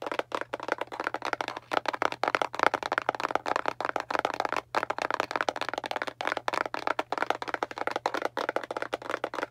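Long, pointed dark nails tap rapidly and aggressively on the surface of a small, hollow, printed kraft cardboard box held in both hands. The clicks are fast, dry and papery, with almost no ring, and a faint steady low hum runs underneath.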